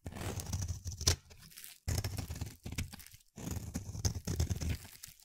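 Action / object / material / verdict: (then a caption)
scrape / bar of soap / soap / none. A solid, palm-sized, pale-blue oval bar of soap is held in the hand and shaved into thin curls with a utility-knife blade. The result is dense, crunchy, tearing scrapes in three bursts, with a sharp bright snap near the first second and short quiet gaps between bursts.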